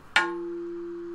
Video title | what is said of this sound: Laminate Sample #30: 6mm (0.25") Infused Carbon "Tooling" Plate | very high pitched when you tap on it it's like a bell